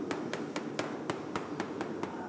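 A small hammer taps a Parmesan cheese wheel in a ripening room nine times, checking for cracks or small holes. Each tap is a short, dull knock with a brief ring around 324 Hz and a faint bright click, sounding the same from spot to spot. The wheel does not sound hollow, so it is judged sound and homogeneous, an exceptional wheel.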